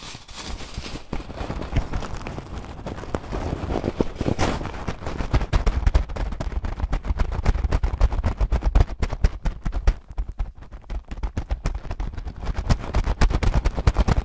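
A clear plastic bag with a cardboard header, full of small green translucent acrylic gems, is pressed and rubbed with fingertips. The result is a steady stream of dense, rapid crinkles and short clicks that shift and rattle against each other, with a heavy low-end thump throughout and little bright content.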